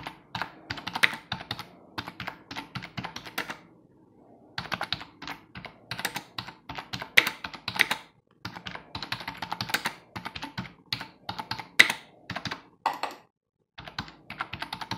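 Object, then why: Plastic computer keyboard. Bare fingertips of both hands rapidly tap the keys of a hollow, full-size black plastic computer keyboard resting on a wooden desk. The result is bursts of bright, crisp clicks with almost no ring, broken by short silent pauses near 4, 8, and 13 seconds.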